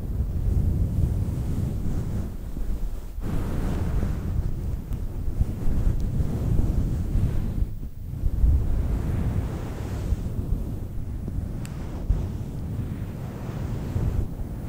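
Long nails scratch a fluffy faux fur microphone windscreen held by its sides, producing a continuous, muffled, low rumbling rustle. Almost all the energy sits in the deep bass, with little brightness, so the scratching sounds like steady wind buffeting the microphone.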